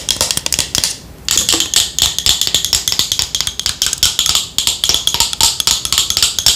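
Long nails rapidly tap and scratch the surface of a yellow matte plastic Boscia cosmetic bottle held in the hands. The result is a fast, steady stream of crisp, bright clicks and scrapes with almost no low end, centered around 3.3 kHz. The stream pauses briefly near the one-second mark, then resumes evenly to the end.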